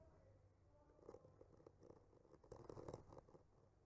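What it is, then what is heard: Painted wooden panel scraped with a skewer. A bamboo skewer slowly scratches and traces across a solid wood panel painted with trees. The result is a quiet, soft, dry scraping with a low-mid grainy texture, rising in brief louder strokes toward the middle and end.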